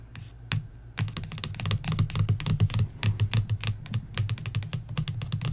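Long nails tap and scratch the glossy paperback cover of a coloring book in a fast, uneven flurry of short, dry clicks. Each tap snaps off bright with almost no ring, over a steady low hum.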